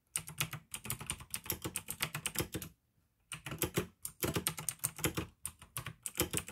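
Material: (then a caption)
Plastic. Fingertips type rapidly on the keys of a pink AUKEY plastic mechanical gaming keyboard with blue switches, producing bursts of sharp, bright clicks over a low thock. The typing breaks for a brief silence just before the 3-second mark, then resumes in quick runs.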